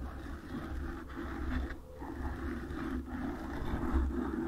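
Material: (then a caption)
Foam. Long nails slowly scratch a black foam windscreen on a microphone. The result is a continuous, muffled, low rumbling scrape with a deep hum-like undertone, a softer rasp in the mids, and almost no bright content, swelling and easing slightly as the nails move.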